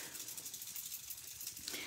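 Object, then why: Plastic shimmer brush ink well with a mixing ball. A shimmer brush with its plastic ink well screwed on top is shaken, rattling the mixing ball inside that stirs the shimmer ink. The sound is a continuous, bright, rapid rattle with almost no low end. Right after the shaking, the gold ink begins flowing down into the brush.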